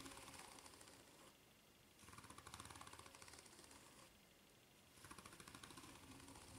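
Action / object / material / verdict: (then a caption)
scrape / ridged rubber flip-flop sole / rubber / none. Long nails scratch the serrated underside of a white ridged rubber flip-flop sole. Three bursts of quick, rasping strokes carry a bright, rattling texture over the ridges, with quieter pauses between them.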